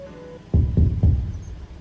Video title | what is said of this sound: 理想の釣り車を求めてエブリィの天井を断熱する（デットニング） | いろんな場所すごい響くしすごい歪んでるよね